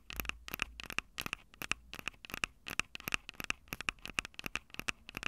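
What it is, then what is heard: Handheld audio recorder with metal mic grilles. Long acrylic nails tap the metal-grilled microphone capsules of a Tascam DR-05 handheld recorder, a small, hollow plastic-bodied device. About 28 quick, bright clicking taps come in an uneven rhythm, each with a short tinny ring near 2.6 kHz that dies away almost instantly, over a faint low rumble.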